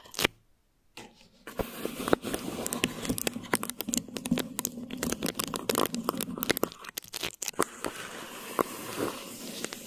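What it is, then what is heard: Plastic wrap over a microphone, scratched. Thin plastic wrap stretched over a microphone head is tapped and scratched with long nails. A sharp tap is followed by about a second of near silence, then continuous crinkly scratching broken by dense, crisp clicks and taps. The sound has a bright crackle and very little low end.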